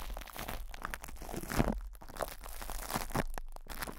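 Fingertips scratch and rub crinkled plastic cling film wrapped over a metal microphone grille. The result is a steady run of close, crackling crunches and crinkles with a low rumbling undertone, and no pauses.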